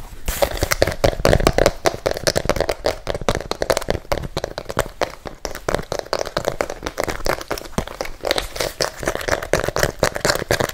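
Fingertips and nails tap and scratch fast on the rubber sole of a single empty pink and white fabric sneaker, held by hand close to the microphone with the sole facing out. A dense, continuous run of quick, dry taps and scrapes plays throughout, with a hollow ring around 550 Hz from the empty shoe.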